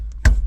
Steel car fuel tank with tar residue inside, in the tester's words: when I smack the bottom, it sounds full